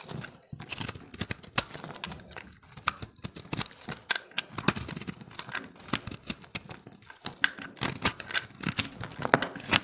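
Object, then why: Pressed soap ball cut with a knife blade. A utility-knife blade carves a solid, hand-held recycled soap ball of pressed multicolored dry soap, scraping and chipping pieces off. The clip is a dense run of sharp, bright cracks and crisp scrapes with very short decay over a low, quiet background, as chunks of the dry soap snap away under the blade.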